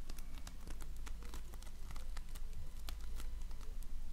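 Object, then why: Slime with polystyrene foam beads. A donut-shaped ring of floam, slime packed with polystyrene foam beads, is pressed and rubbed with fingertips and nails. Many quick, bright crackles and pops sound over a steady low rumble, each snap dying away almost at once.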